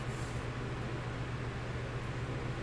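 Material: Nothing is struck.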